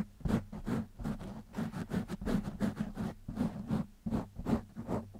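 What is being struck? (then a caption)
Foam microphone windscreen. Fingertips scratch a black foam windscreen on a microphone in quick, uneven strokes. Each stroke is a short, rough, scratchy rustle that spreads from a low rumble into a bright hiss, over a steady low hum. The strokes come in bursts of varying loudness at about two or three per second.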